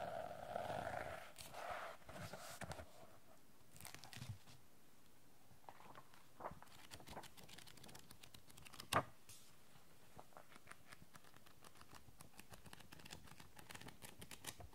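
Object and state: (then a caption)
Paper notebook with cardboard cover. Long painted nails tap on the closed cream cardboard cover of a medium-sized bound paper notebook, and then the notebook is opened and its pages are handled and flipped by hand. A soft, brief rustling opening gives way to a quiet run of sharp, dry clicks and papery crinkles, with one louder snap near the middle.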